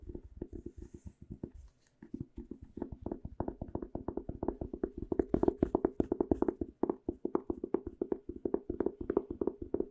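A small white speckled hardcover journal with a cardboard cover is held closed in the hands and rapidly tapped with the fingernails on its cover and edges. Dozens of quick, dry, hollow taps centered in the low-mids fall in steady runs, with a brief pause just before the two-second mark. Each tap dies away almost instantly.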